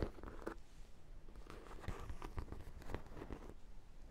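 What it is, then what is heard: Hollow vinyl donut toy. Long black nails tap and scratch the top and side of a large, hollow sprinkle-donut dog toy, likely vinyl. The result is a quiet series of short, dull, muffled taps with light scraping between them. The sound is mostly low thumps with little brightness and no ring after each tap.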